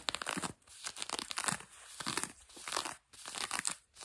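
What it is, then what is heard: Denim fabric being scratched. Long nails quickly scratch grey-blue denim jeans stretched over a knee. The result is a dry, bright rasping and crinkling in rapid bursts, separated by brief near-silent pauses, with almost no low end.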